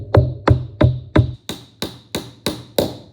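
A leather mallet taps a glued wooden dowel down into the hole of a wooden propeller held flat on a table, with nine short, steady knocks. The first four carry a low, resonant thud, and the later ones turn thinner and brighter as the dowel hits solid. The dowel is fully seated and sits flush.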